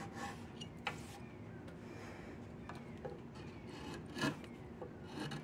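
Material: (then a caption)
Wood. A wood-handled chisel carves and scrapes a solid diamond willow walking stick. Quiet, dry rasping strokes with bright, brief scraping bursts run over a steady low rumble.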